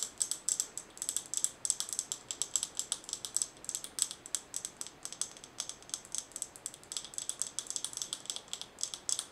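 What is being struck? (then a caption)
Glass mason jar with metal lid. Long nails tap and scratch on a glass mason jar with a gold metal screw lid, filled with colorful small items. About sixty quick, crisp clicks sound in an uneven, steady patter, with scratchy texture between them. The sound is high and bright with almost no low end, and each tap dies away almost instantly.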